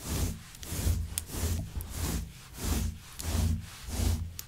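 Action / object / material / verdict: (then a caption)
scrape / synthetic faux fur rug / synthetic fibre / none. Long white nails scratch and comb through the long fibers of a grey shaggy synthetic faux fur rug. The result is a steady rhythm of soft, scratchy swishes that swell and fade with each stroke, with bright hiss over a deep, muffled rumble.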